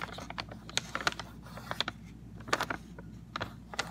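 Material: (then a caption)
Cardboard. Fingernails and fingertips tap and scratch the printed face of a rectangular, hollow Sun Tropics CocoRolls cardboard snack box. The result is an irregular series of short, dry clicks and scratchy taps with almost no ring, over a faint low hum.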